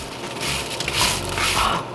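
Roasted potatoes, boiled with a little baking soda, roughed up and roasted until crispy, are scraped and crunched straight out of the oven. A continuous dry, bright crackling crunch swells through the middle and fades at the end, showing how crispy the potatoes are.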